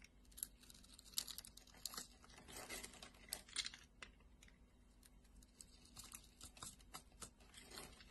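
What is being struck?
Translucent glycerin soap bar cut with a metal blade.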